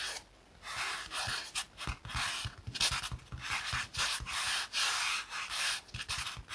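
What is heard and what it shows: Fingernails scratch a yellow foam kitchen sponge with a green abrasive scouring layer, first on the foam side and then on the scouring side. Eleven separate bright, dry rasping strokes are heard, each a short hissy burst with short pauses between them and no lingering ring.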